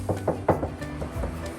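Knuckles knock five times on an area of a Copen's sheet-metal trunk panel, giving short, dull thuds with a low-mid tone that die away almost at once. This spot does not ring, unlike the resonant area of the panel, so it needs no deadening.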